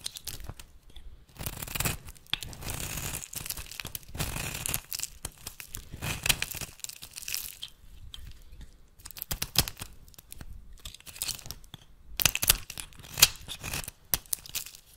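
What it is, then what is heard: Bar soap shaved with a blade. A metal blade shaves flakes from the edge of a solid oval bar of rancid, translucent amber-brown soap held in the hand. Crisp, bright scraping and crackling come in irregular bursts, with short quiet gaps between strokes.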